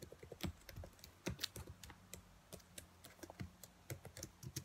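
Long nails tap and type on the black plastic keys of a dark laptop keyboard, making about twenty quick, crisp clicks with bright, sharp edges and no ring. Some taps land harder than others, and a faint low hum runs underneath.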